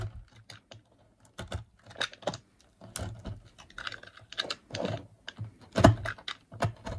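A solid, dry brown rectangular bar of soap is held over a white table while its edge is cut and shaved with a green-handled utility knife. Quick, dry scraping and crisp clicking bursts follow one another unevenly, each short and brittle with a low thud underneath, as thin flakes are carved away.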